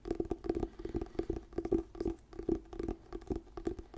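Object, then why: Paperback book with glossy paper cover. Fingertips and nails scratch and tap the glossy paper cover of a small, solid orange "Diary of a Wimpy Kid: The Long Haul" paperback book held in both hands close to the mic. The result is an irregular run of soft, dry taps and scratchy brushes with a low hollow tone around 330 Hz. Each touch dies away almost at once, with no bright edge.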